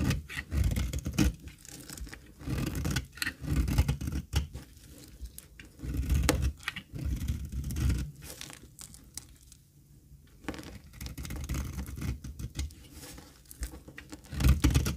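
A dry cream olive oil soap bar is held in the hand and shaved into strips with a metal box-cutter blade. Repeated dry scraping and tearing strokes come in uneven bursts, with a brief quiet stretch in the middle. The sound is mostly low-weighted and close.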